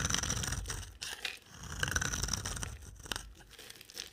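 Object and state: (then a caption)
Dry bar soap being shaved. A solid, dry pink rectangular bar of soap is held in the hand and shaved with a utility knife blade, sending flakes falling. Close, crisp scraping and crunchy shaving strokes come in an uneven series, with bright, high rasping over a soft low rumble.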